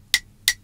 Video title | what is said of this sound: 6.Sınıf Fen Bilimleri - 2.Dönem 1. Yazılıya Hazırlık | bu seramik bir bardak olduğu için farklı ses çıkartıyor